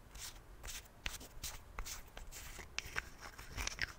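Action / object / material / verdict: flick / plastic toothpaste tube flip cap / plastic / none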